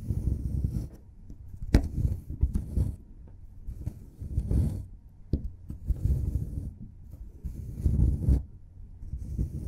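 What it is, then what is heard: Plaster dig block being scraped. A solid plaster excavation block is chipped and scraped with a forked metal pick, and the plaster crumbles off. The clip is mostly low, dull scraping and rubbing bursts, broken up by a few sharp clicks.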